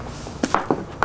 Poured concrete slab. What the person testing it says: That sounds hollow to me.